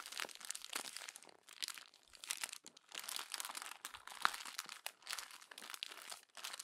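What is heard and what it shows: Fingertips and long nails crumple, rub and press the thin pages of a glossy paper magazine. The result is bursts of dry, bright crinkling and crunching, with short quiet gaps between them and one sharper crackle near the middle.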